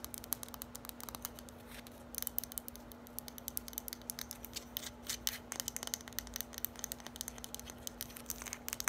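Long nails rapidly tap and scratch a small, hollow, lime-green hard plastic olive-oil style bottle with a printed label. The result is a quiet, continuous stream of crisp, bright clicks and scratchy rasps over a steady low hum.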